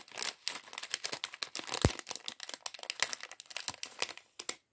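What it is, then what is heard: Plastic bag of small plastic bricks. A small, thin, clear plastic polybag from the LEGO City sandwich shop set 40578, partly full of small plastic LEGO pieces, is crinkled and pinched with the fingertips while the pieces rattle inside. The result is a dense stream of quick, dry, bright crinkles and crackles with little ring, plus one louder, sharper snap just before the two-second mark.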